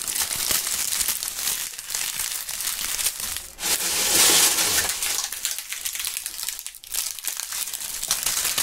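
Dry brown autumn leaves are held in gloved fingers close to the microphones and crushed and crumpled. A dense, bright crackling crunch runs throughout, with brief dips near 3.5 and 6.8 seconds and a louder, fuller burst of crushing around 4 to 5 seconds.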